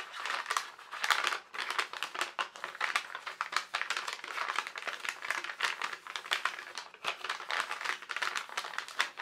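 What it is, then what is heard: Tracing paper sheet crinkled. A single translucent sheet of tracing paper is held in both hands, flexed and crinkled. Dense, continuous crackling and crinkling runs through the clip in short, rapid bursts, bright and papery with no low end, each crackle dying away almost instantly.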